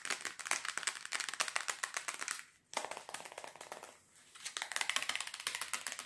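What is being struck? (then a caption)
Small plastic box. A small, hollow, rectangular white plastic box made of two cases joined together is held in both hands and tapped quickly with fingernails and fingertips. Fast, bright, clicky taps run in dense bursts with almost no low end. The tapping briefly drops away twice before resuming.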